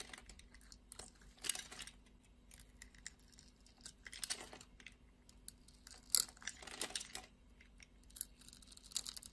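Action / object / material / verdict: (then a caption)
scrape / glycerin soap bar / soap / none. A solid translucent red glycerin soap bar held in the hand has its surface scraped into cubes with a utility knife blade. Quiet, bright scraping and crisp crackling come in short bursts, with a sharper snap near the middle and a steady low hum underneath.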